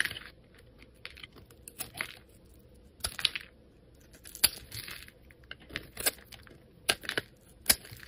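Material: Soap.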